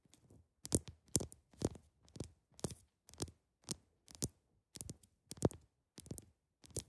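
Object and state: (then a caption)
Ice block tapped with fingernails. A large, solid, clear ice block is tapped on top with the tips of long acrylic nails. The result is a steady series of short, dry taps, each a soft low knock with a bright, crisp click and a slight scratchy edge. Every tap dies away almost at once, with quiet gaps between them.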